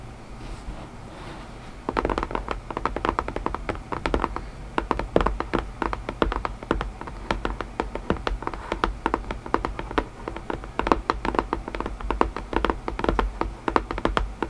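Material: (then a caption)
Cardboard. Long grey nails tap rapidly and lightly scratch a small, hollow, closed white cardboard puzzle box with a printed wolf lid. After about two seconds of faint rustling, a dense run of quick, dry, short clicks follows, with soft scratching between them.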